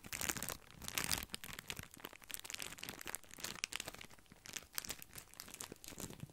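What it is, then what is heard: Plastic-wrapped bundle of breadsticks. A small bundle of grissini breadsticks in clear plastic wrap is rubbed and squeezed with fingertips close to the microphone. Dense, bright crinkling and crunching rise and fall throughout, with short sharp crackles.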